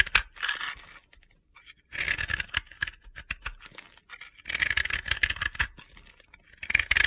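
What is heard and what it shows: A utility knife blade scrapes a solid, powdery, round blue and yellow bath bomb held in the fingers, crumbling gritty powder off it. Bursts of dry, crunchy scraping come in uneven clusters with short pauses, bright and hissy with little low end.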